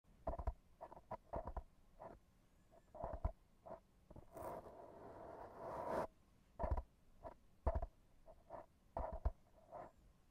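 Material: Foam.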